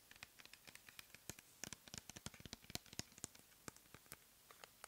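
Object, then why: Plastic pump bottle of gel. Long nails scratch and tap a clear plastic pump bottle full of cleansing gel, making a rapid, irregular run of about thirty crisp, bright clicks with sharp attacks and almost no ring.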